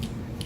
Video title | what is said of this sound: REFORMULATED Givenchy Prisme Libre Powder - Will It Still Work And Look The Same? | if you pick it up and it rattles at all, that means we should shake it